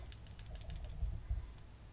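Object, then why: Glass jar of oil with small stones inside. A glass jar of oil and rosemary with lodestones inside is shaken, and the stones click and rattle around in the liquid. The light, bright clicks fall over a steady low rumble, followed by a couple of duller low thumps as the shaking continues.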